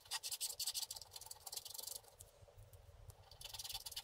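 A wooden stylus scratches the black coating off a flat scratch-art paper card lying on a table, with one hand steadying the board. Quick, bright, hissy scratching strokes come in rapid bursts, ease into a softer stretch in the middle, then grow stronger again at the end.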